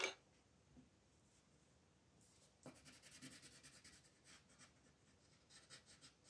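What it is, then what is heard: Pencil shading on paper. A pink wooden colored pencil rubs and shades the petals on a flat white paper coloring page, with the other hand resting on the sheet. After a short sharp tick at the start and a near-silent stretch, soft, bright, scratchy shading strokes begin and continue in quick rasping bursts.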